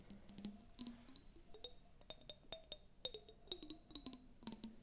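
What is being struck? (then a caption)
Glass tumbler partly filled with water. Long acrylic nails tap a clear glass tumbler, partly filled with water and held close to the microphones. The result is an irregular series of quick, bright clinks with short high pings and a faint low tone under each tap, and each one fades almost at once.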